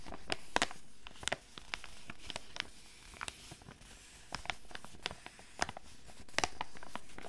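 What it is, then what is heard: Foil sachet, crinkled and tapped. A flat foil and plastic sachet holding a foot mask is held in both hands, crinkled and tapped with long red nails. Sharp, bright crinkles and crisp clicking taps come in scattered bursts over a soft, steady low hiss.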